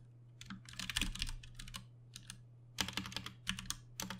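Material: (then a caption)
Plastic. Both hands' fingertips tap on a compact 60% Ducky One 2 Mini mechanical keyboard with plastic keycaps, Cherry MX Brown switches and RGB backlighting, resting on a desk. Bursts of quick, bright, clacky keystrokes with short dry decays come in flurries separated by brief pauses, over a steady low hum.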